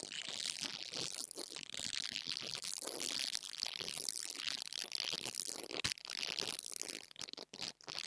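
An interdental brush scratches the metal grille on top of a small black plastic mini lavalier microphone. The result is a dense, continuous, bright scratching and crackling, almost all high-pitched with very little low end. Near the end it breaks into a few short gaps and sharper scrapes.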